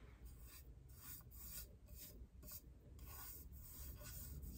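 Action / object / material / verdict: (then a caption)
scrape / stainless steel tumbler / stainless steel / none. Long painted nails scratch and rub a tall, hollow, iridescent rainbow-finish stainless steel Starbucks tumbler, making a fast, uneven series of bright, rasping strokes. A steady low rumble sits beneath the scratching throughout.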